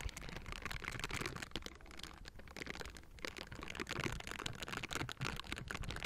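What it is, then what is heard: Metal microphone grille being scratched. Gloved fingers fitted with silicone bristles rub and scratch the metal mesh grille of a Blue Yeti microphone. The result is a dense, continuous stream of crackly, scratchy friction, with quick bright ticks over a low rumble.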